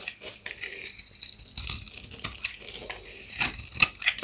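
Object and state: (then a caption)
Dry soap bar. A white oval bar of dry, solid soap is held in one hand and scraped and shaved with a serrated box-cutter blade, peeling off flakes. The result is a run of dry, crisp scratching and crackling strokes, almost entirely high and bright with very little low end. Several sharper, louder scrapes stand out toward the end.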